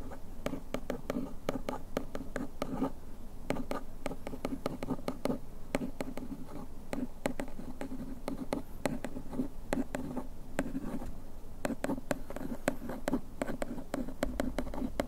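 A bamboo ear pick scratches along the printed text lines on the back of a paperboard bandage box held in the hand. The result is a steady, close, dry scratching texture made of many quick, tightly packed ticks, with a low-mid papery body and very little bright top end.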